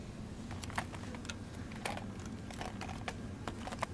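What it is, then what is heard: Plastic blister pack. Fingertips with long dark-painted nails tap and handle a small, clear, hard plastic blister pack with a cardboard back, holding two MAM night soothers, on a shop shelf. The hollow plastic shell gives a quick, irregular series of short, dry, bright clicks and light crinkles. A steady low rumble sits underneath.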